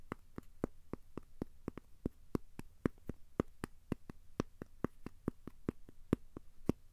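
A thin, solid, square cork coaster held in the hands is tapped and scratched with the fingertips. About 27 quiet, dry taps come at a steady, quick pace, each a short click with no ring. A faint low rumble sits underneath.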